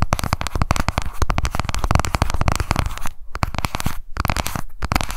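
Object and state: Plastic compact, fast nail tapping.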